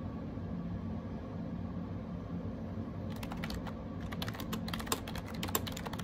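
Rapid fingertip typing on a gray AJAZZ 308i wireless Bluetooth keyboard with round plastic keycaps. A steady low background hum fills the first three seconds, then quick, light plastic clicks and taps begin and continue to the end, with a couple of sharper key strikes near the close.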